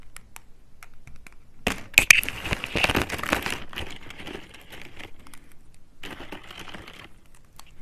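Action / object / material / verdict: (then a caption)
snap / thin dry soap slices / soap / none. Thin, curved blue slices of dry soap are bent and snapped by fingers with long red nails. Soft crinkling leads into a dense burst of sharp, bright crunching and cracking, followed by lighter crumbly rustling and another short crackly flurry. The sound is mostly high and brittle with very little low end.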